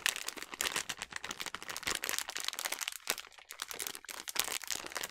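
A filled yellow plastic snack bag of sliced almonds is crumpled and squeezed in the hands. It gives a dense, continuous run of bright crinkling and sharp crackles with almost no low end. The sound swells and eases with each squeeze.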